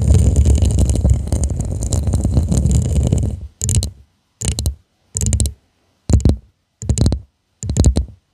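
Long manicured nails tap and scratch around the sides and base of a hollow purple glass tumbler with a studded, faceted surface, held upside down. About three and a half seconds of dense, continuous scratching and tapping give way to six short, separate bursts of clicking with silence between them, each full of bright, crisp ticks over a low, thumpy body.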